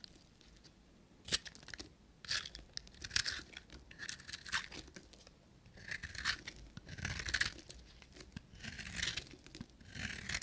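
A solid, multicolored green and copper-coated dry bar soap, held in the hand, is scraped and carved with a short metal knife. Bright, crunchy scraping and tearing strokes come in uneven bursts, with short quiet gaps between them and almost no low end or ring.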